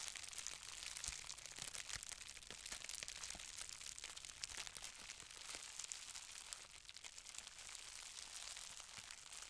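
A folded sheet of green-tinted plastic bubble wrap with small, hollow, air-filled bubbles is held flat in both hands while long red-painted nails and fingertips squeeze and crinkle it. The result is a steady, bright, high crinkling with many short, sharp crackles and snaps throughout, possibly from bubbles popping.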